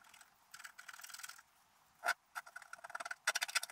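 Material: Coated paper.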